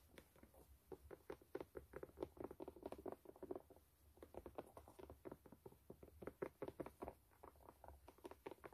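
Long nails tap and scratch the white canvas upper of a low-top sneaker with metal eyelets. The result is a quiet run of quick, dull, papery pats and scuffs with no ring, in rapid clusters broken by brief pauses.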